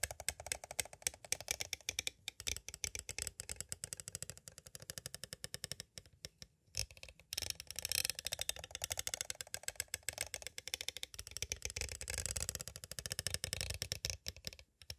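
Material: Plastic.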